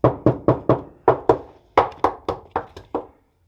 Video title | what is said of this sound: First Look at the Barn Find Mustang! | a very good sign that we've got an intact floor pan that probably doesn't need to be replaced